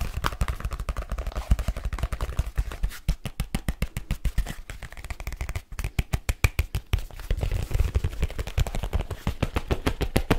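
Fingertips and nails tap fast and steadily on a hollow black leather folio case. The result is a dense run of short, dry, low thuds with a little bright clicking on top, with brief pauses around the middle.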